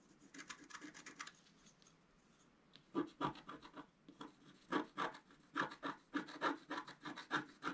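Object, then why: Coated scratch art paper card scratched with a wooden stylus. A wooden stylus is scratched quickly across a flat scratch art sheet of black-coated paper. It makes rapid, dry, raspy strokes with a bright edge. A short burst of scratching is followed by a brief quiet pause, then a longer run of quicker, louder strokes.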